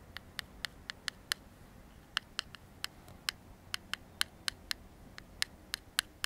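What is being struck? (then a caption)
Metal aerosol can and plastic comb. The teeth of a black plastic comb are scraped along the metal body of an aerosol deodorant can held in one hand. This produces 21 separate, very short, bright clicks around 1.5 kHz with no ring, unevenly spaced against a quiet background.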